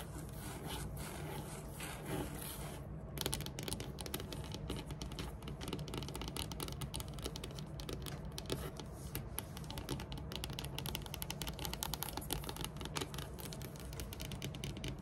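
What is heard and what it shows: Long, metallic-polished nails rapidly tap and scratch across a large, flat, solid dark wood-grain tabletop. The result is a dense, continuous stream of quick, dry clicks and raspy scrapes over a steady low rumble, with crisp bright transients and no ringing after each tap.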